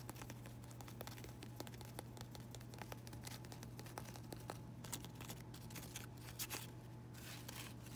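Fingers with pink nails rub and crinkle the thin, flexible leaves of variegated fake ivy that look like fabric or plastic. Dense, quiet crinkling and bright ticking clicks run throughout, with a few louder crackles near the end. A steady low hum sits underneath.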